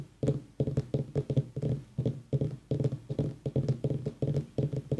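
A pumpkin is tapped in a quick, uneven series of short, dull knocks. Each tap is a low, hollow-sounding thud that dies away almost at once, with little high-end brightness.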